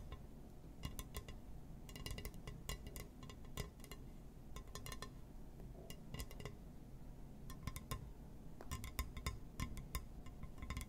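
A glass surface is tapped and scratched, giving quick, bright clinking and ticking sounds that come in irregular bursts and clusters. Each tick dies away almost at once over a steady low rumble.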